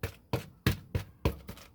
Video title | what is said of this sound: Village Life Vlog outdoor kitchen & outdoor bath prep: We gotta eat right! | you bang on it, it's hollow